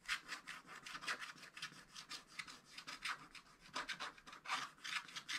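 A wooden stylus scratches the black coating off a wax-coated scratch-art paper page in a book, working around a cardinal and leaves. It makes a rapid series of short, dry, bright scratching strokes with almost no low end, each fading quickly.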